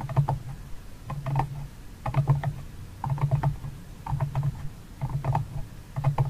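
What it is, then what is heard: Empty cardboard box tapped and scratched. Fingertips and nails tap and scratch the rim and walls of a medium, empty, open paper-covered cardboard box with a flamingo print and a mint-green interior, another box lid nearby. About six bursts of quick taps come roughly once a second, each a cluster of light clicks over a low, hollow thump near 140 Hz. The taps die away quickly, leaving a soft, dull drumming.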